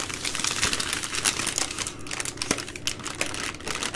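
A plastic-wrapped multipack of three full, soft baby wipe packs is held in both hands while nails scratch and fingers squeeze the plastic. Dense, bright crinkling and scratching crackle steadily throughout, with sharper clicky bursts standing out along the way.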